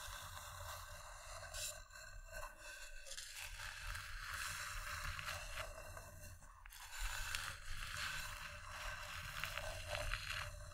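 Long dark-painted nails and fingertips scratch and tap the inside and rim of an empty, medium-sized, hollow round bowl of polished wood resting on green fabric, with a second bowl sitting untouched beside it. A steady, bright, dry scraping texture runs throughout, broken by irregular soft taps and louder scratchy bursts, over a low background hum.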